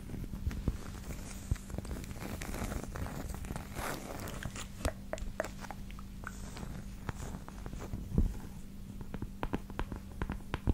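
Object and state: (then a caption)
Cork coaster. A small, thin, solid round cork coaster is held up close to a microphone and tapped and scratched with long acrylic nails. Dry, short taps are scattered across the clip, with a stretch of soft, scratchy rubbing early on. Everything sits over a steady low hum, and each tap dies away almost at once.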